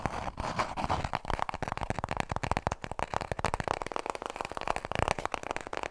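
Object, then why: Paper toilet roll. Long nails tap quickly on a small, full roll of white toilet paper held in both hands. The result is a dense, continuous stream of soft, papery clicks that centre on a mid-range thud and carry a light, crackly high edge.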